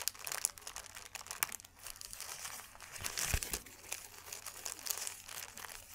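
A thin white paper sheet is folded and crumpled with fingers and palms, giving a dense run of quiet, bright crinkling crackles. The short, dry snaps overlap with no ring-out, with a slightly fuller burst of crumpling near the middle.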